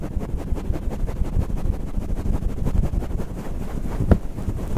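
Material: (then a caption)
Faux fur. Fingertips of both hands pinch and scratch a fluffy grey faux-fur windscreen on a stand microphone. The result is a dense, muffled, wind-like rumble of rubbing and crackling that stays almost entirely in the low range with no bright content. One sharper, louder bump stands out near the end.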